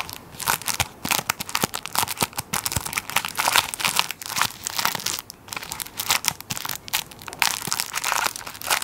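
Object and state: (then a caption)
Plastic-wrapped tissue roll crinkled. A tissue paper roll in plastic wrap is held beside the mic while fingertips squeeze and scratch the crinkly plastic on its end. Dense, bright crinkling comes in quick, irregular bursts with very little low end. Each crackle stops almost at once.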